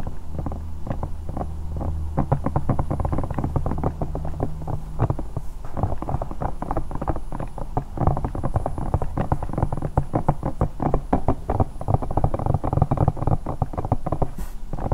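Long nails rapidly tap and scratch a hollow, bear-shaped silicone night lamp. The result is a dense, steady stream of dull, muffled taps with very little ring, heavy in the low end. A low throbbing hum runs underneath for the first five seconds.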